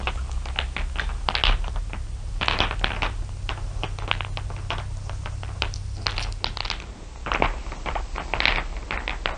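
A heap of small solid glass marbles, dark and shiny with some clear blue ones, is tapped and raked over by long nails and fingertips. Quick, bright clicks scatter densely throughout over a steady low hum.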